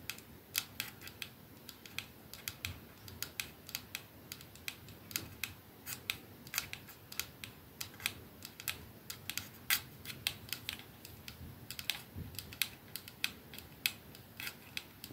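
A 212 capsule perfume bottle with clear glass ends and a silver band is held in one palm while the fingertips and nails of the same hand tap rapidly on its back. The result is a steady stream of quiet, bright, crisp clicks that die away almost instantly, centred around 2.6 kHz with little low end.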